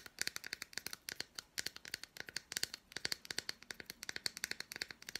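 Long black nails tap and scratch the squares of an unwrapped, hand-sized solid milk chocolate bar studded with red fruit bits. A dense run of quick, sharp clicks and ticks follows, bright and thin with almost no low end, each dying away instantly.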